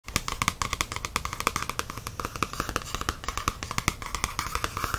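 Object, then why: Paperback coloring book with glossy card cover. Fingertips and nails tap and rub the glossy card cover of a medium paperback coloring book lying flat, a solid stack of paper. Rapid, dry taps with crisp, bright clicks and very short ring sound over a soft, steady rubbing. The taps continue unevenly throughout the clip.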